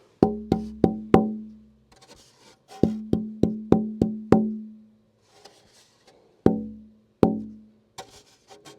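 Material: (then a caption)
Spruce wood. A braced wooden acoustic guitar top for an OM model is tap-tuned again after its braces have been shaped and sanded. A series of distinct taps each ring with a clear fundamental around 220 Hz and taper down with good sustain. The top sounds well tuned.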